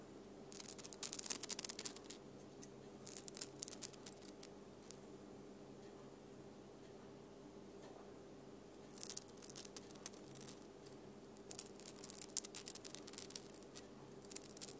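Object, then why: Glitter-coated plastic snowflake ornament. A small, flat silver glitter-covered plastic snowflake Christmas ornament hanging on the tree is scratched and tapped with long painted nails on its glittery surface. Dense, bright, crackly bursts of scratching come in clusters, separated by quieter stretches with a faint low steady hum underneath.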